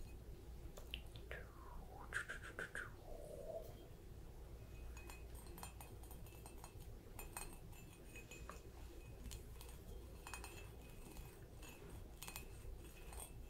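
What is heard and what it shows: A small, light green polka-dot ceramic mushroom planter hangs from jute rope, hollow and filled with white material, and is tapped with long nails. The result is a quiet, rapid scatter of light clinks and clicks with very short ring, including a brief glassy chime early on, over a steady low background hum.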